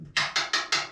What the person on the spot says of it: hear my ring tapping on it. It's all metal.